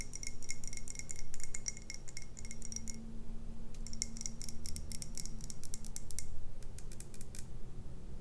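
Long red nails tap a clear glass tumbler full of dark beer, held up off any surface, in quick bursts of short, bright clicks. The taps come in dense runs with a brief pause near the middle, over a steady low hum.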